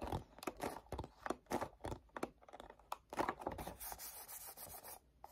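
Fingertips scratch and grip the back side of a black cardboard perfume gift box, producing a rapid series of short, dry scratching and scraping bursts with quick rubs in between. A longer, brighter rubbing texture follows before the sound trails off with a last soft scratch.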